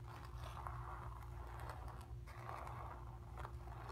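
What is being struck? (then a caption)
Stretched painted cotton canvas. Long nails scratch quickly over a stretched, painted cotton canvas, moving across a painted sphere and the background. A steady, dry scratching rasp fills the mids in continuous strokes, with a short pause partway through, over a constant low hum.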